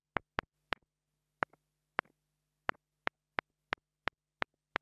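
A small black plastic mini lavalier microphone is tapped close-up with a wooden stick held by long-nailed fingers. Twelve sharp, dry, bright clicks land at uneven intervals, some followed by faint little rebounds. Each dies away almost instantly over a faint steady low hum.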